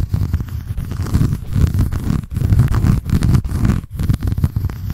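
Long nails scratch the white embossed cardboard cover and the page edge of a paper notebook. The result is a steady, dense, low rumbling scratch made of rapid strokes, with a few brief pauses between bursts.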